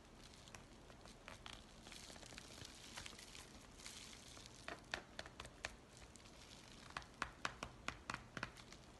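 A white paper USPS mailing envelope is stretched and crinkled between both hands while fingertips rub its surface. A quiet, steady papery hiss runs throughout, broken by irregular sharp, bright crackles that grow more frequent toward the end.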